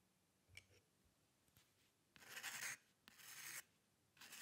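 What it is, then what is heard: Paper sheet scratched by a pen nib. A metal-nib dip pen scratches long curved ink lines across a single white paper sheet. A few faint light taps come first, then three long, bright, raspy strokes. Each stroke stops abruptly between quiet pauses.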